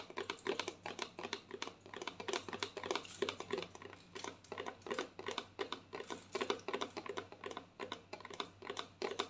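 A white plastic lotion bottle, held diagonally, is tapped on its side with long nails. Quick, light, clicky taps come in uneven bursts for about nine seconds. Each has a hollow plastic tone near 400 Hz that dies away almost at once.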